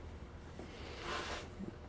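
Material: Nothing is struck.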